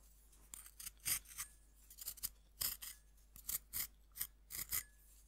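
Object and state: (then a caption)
Pressed-powder bath bomb being scraped. A metal fork repeatedly scratches the cut face of a fist-sized, solid pink compressed-powder bath bomb held in the hand, releasing powder. The result is a series of short, quiet, bright, gritty rasping scrapes separated by brief pauses, over a faint steady low hum.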